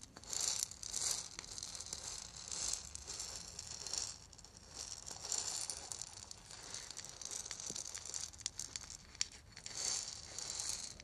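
A small hollow, lacquered and painted wooden ball rattle is held in the hands, turned and shaken while fingernails tap and scratch its surface. It makes bright, dry, scratchy rattling in uneven bursts, with quick clicks and crinkly rustling but almost no low end.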